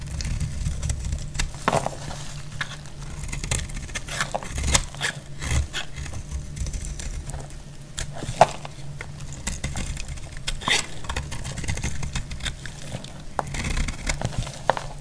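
A solid, dry cream soap bar held in the hand is sliced into long shavings with a utility-knife blade. Frequent short, crisp scraping snaps and clicks with bright edges rise over a steady low rumble. Occasional sharper cracks stand out.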